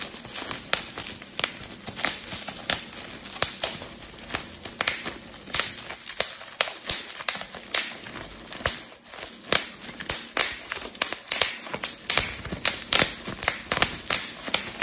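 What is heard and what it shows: A rolled strip of clear, air-filled plastic bubble wrap is twisted between both hands while the fingers pop the bubbles. Around fifty sharp, bright pops snap out over a steady crinkling hiss, each dying away almost instantly.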